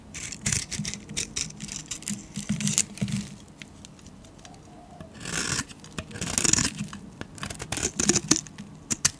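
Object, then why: Soap bar shaved with a metal blade. A solid yellow painted soap bar, held in the hand, is shaved into thin curls with a metal blade. Bright, dry scraping strokes come in quick bursts, with a quieter pause midway before a few longer, louder scrapes.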